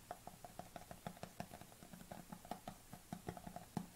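Long nails tap rapidly on the lid and side of a white plastic supplement tub with a lid, held tilted, while a black tub sits idle on the table. The taps are quiet, dry, hollow clicks that die away almost instantly, with a low body and a mid-range knock.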